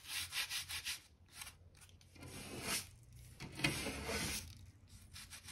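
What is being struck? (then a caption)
Oak plank floor scrubbed with a stiff-bristle brush. A stiff-bristle crevice brush held in the hand is scrubbed along the gap between solid oak floorboards of a wooden plank floor, clearing dirt and dust. It makes a bright, scratchy bristle rasp: a run of quick short strokes first, then longer, louder sweeping scrubs that fade to lighter brushing.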